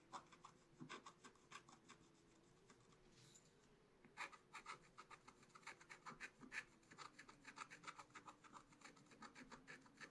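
A pointed wooden stylus held in the fingers scratches lines into the black coating of a spiral-bound scratch-art book page over colored card, lying flat on a table. Quick, dry scraping strokes come in a steady run of many short, crisp scratches with a bright rasp. A faint low hum runs underneath.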